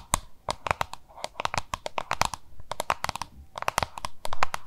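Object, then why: Plastic lunch box. Long nails tap and scratch the surface of a small, hollow, oval yellow-green plastic lunch box held in both hands. A rapid, uneven run of sharp clicking taps with brief dry ticks rings around 1 kHz, with soft scraping and crinkly texture filling the gaps between them.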